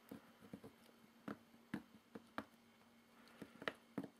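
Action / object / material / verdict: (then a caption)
tap / corrugated cardboard box / cardboard / none. Fingertips tap and scratch across the label and top of a medium, closed, hollow corrugated cardboard box, the hand possibly holding a small item. Quiet, dry, scattered taps with a hollow low-mid thump and brief papery scratches die away almost instantly.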